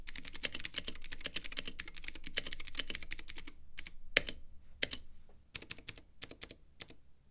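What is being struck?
Plastic mechanical keyboard with acrylic case.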